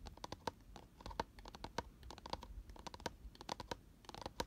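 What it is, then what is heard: Empty cardboard box scratched and tapped inside. Fingernails of both hands scratch and tap the inner walls of an open, empty, round cardboard box lying on its side and lined with white paper. A quick, irregular patter of dry clicks and scrapes follows, each tap dying almost instantly with a faint hollow ring around 900 Hz.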